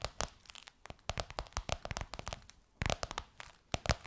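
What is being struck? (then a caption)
Textured faux leather pillowcase over a soft pillow. Long white almond-shaped nails on both hands tap and scratch a gold crocodile-embossed faux leather pillowcase stretched over a soft pillow. The result is a quick, irregular run of crisp, bright clicks and crackly scratching bursts, each dying away almost instantly, broken by brief quiet pauses.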